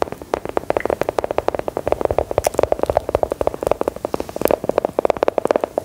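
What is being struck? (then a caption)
Round embossed biscuit tapped with long metal nail tips. A small, solid, brown round biscuit with an embossed pattern is held in both hands and tapped and scratched with long gold metal filigree nail claws. About 42 short, dry clicks fall in a quick, uneven run, centred in the mid-range near 600 Hz with almost no low end. Each dies away instantly, with faint scratching between the taps.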